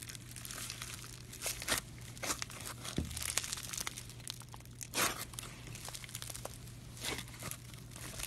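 A soft, solid lump of pink floam (styrofoam bead slime) is kneaded, stretched and squeezed by fingers, its beads crunching. Dense, bright crinkling and crackling comes in quick bursts, with a few louder crunchy squeezes, over a faint steady low hum.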